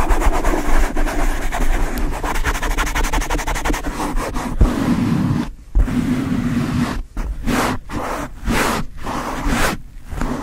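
Long light-blue nails and the fingertips of both hands quickly rub and scratch a black foam windscreen over the head of a Blue Yeti microphone. The result is a dense, muffled, low-heavy scratching and rumbling. Rapid continuous strokes fill the first half, then it breaks into swishing bursts separated by short drops.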